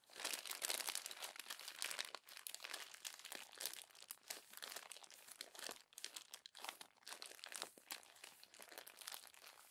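Crumpled glossy magazine pages are rolled and squeezed between two palms on top of the open magazine. The result is dense, continuous crinkling and rubbing made of many tiny, crisp crackles. The sound is bright and high with almost no low end, swelling and easing as the paper is worked.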